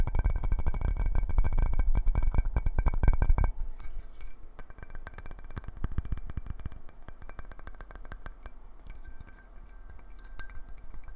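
A clear glass jar lid with a knob handle is turned in the hands and tapped quickly with the fingertips and nails, giving resonant, bright ringing tones. The tapping is loud and dense with a low thump for the first few seconds, then continues as quieter, lighter clinks.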